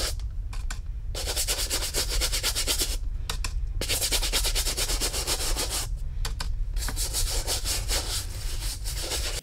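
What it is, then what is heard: Leather boot being scrubbed. A brown Lucchese leather cowboy boot, wet with cleaner and held over a plastic utility sink, is scrubbed back and forth with a small plastic bristle brush held in the fingers. Quick, rhythmic, bright scratchy brushing strokes ring against the hollow boot over a steady low rumble, with a few brief pauses between bursts.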